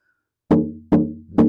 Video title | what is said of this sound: Wayne Henderson Guitar Auction/Benefit | I'm just tapping on the back of it and you can hear it resonate and sound